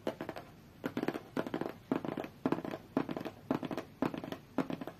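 Long fingernails tap rapidly on a closed, hollow, medium-sized white cardboard tablet box. About nine short bursts of quick, dry, papery clicks follow one another at an uneven pace, each with a hollow low-mid knock and almost no ring after it.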